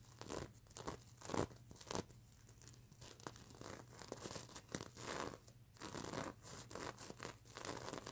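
Long nails scratch the plastic sequins on a sequin-covered stuffed unicorn pillow held in the hands. The result is a quiet run of dry, crinkly rasps and brushing swipes with bright, hissy edges, rising and falling in short irregular bursts over a faint low hum.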